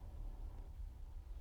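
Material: Nothing is struck.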